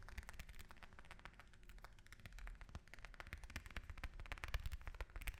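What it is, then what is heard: Orange tapped. An orange is tapped with fingers and nails, giving a quick run of soft, dull thumps mixed with crisp, bright clicks. Each tap is short and dry, with almost no ring, over a low rumbling background.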